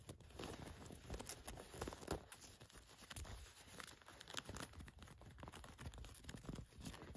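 Long nails scratch and tap the orange elastic inner waistband of khaki cotton work pants with a mesh lining. The result is a quiet, continuous scratchy rustle broken by soft, dull taps, with a faint high fizz above a low, muffled body.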